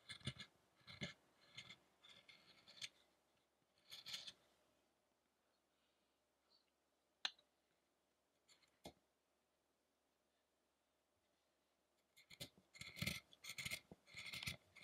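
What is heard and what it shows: A small chisel makes scraping carving strokes on the head of a solid wood statue of the ascetic Shakyamuni. Short bursts of dry, bright scraping come in clusters, then a quiet stretch with a few sharp isolated ticks. Dense, rapid scraping returns at the end.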